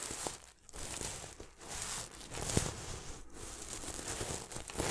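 Fingertips rub and brush back and forth across the red and silver flip sequins of a medium-size soft throw pillow held beside the mic. The result is a dense, crinkly, scratchy rustle with bright hiss, brief quiet gaps, and a few sharper clicks as the sequins flip over.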